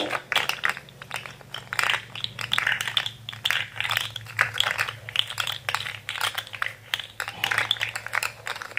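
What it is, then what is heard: Plastic fidget slug toy. A rainbow articulated plastic fidget slug toy is held in both hands while fingertips flex its segments, so they click against each other. Rapid bursts of short, bright plastic clicks and rattles come in irregular clusters over a faint steady low hum.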